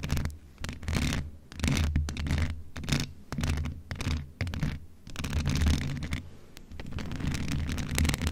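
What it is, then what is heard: Metal condenser microphone being scratched. A grey metal USB condenser desktop microphone with a hollow, rounded mesh grille head is scratched with the long acrylic nails of both hands. The result is dense, rumbling scratching, heavy in the low end, with many quick scraping bursts rising and falling in loudness.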